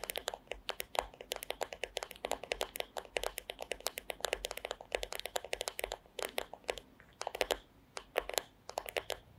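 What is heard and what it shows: Long acrylic nails tap and scratch the flat, solid wooden back of a paddle hairbrush lying bristles-down on a fluffy rug. A quick, irregular stream of sharp, dry clicks with bright edges and a mid-range woody body stops dead after each hit with no ring. Brief scratchy rustles fill the short pauses between bursts.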